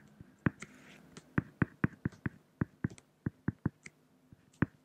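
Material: Acrylic.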